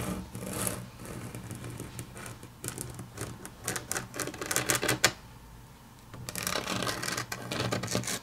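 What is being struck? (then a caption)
Wood-grain laminate tabletop. Long natural nail tips tap and click on a solid, flat grey wood-grain laminate tabletop. The result is quick, irregular, bright clicks with very short decay over a faint low hum, with a brief quieter gap just past the five-second mark before the tapping resumes.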